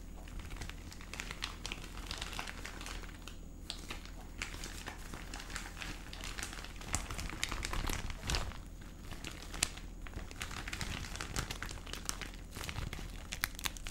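A clear cellophane gift bag with red ribbon trim, holding small partly visible contents, is crumpled and crinkled with the fingertips of both hands. Dense, bright plastic crinkling and crackling runs throughout over a steady low hum, with brief louder bursts along the way.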